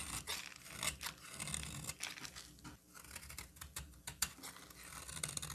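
A solid green bar of soap is held in the hand and shaved with a utility knife blade. The result is a quiet run of bright, crisp scraping and shaving strokes, with short rasps that overlap and fade quickly.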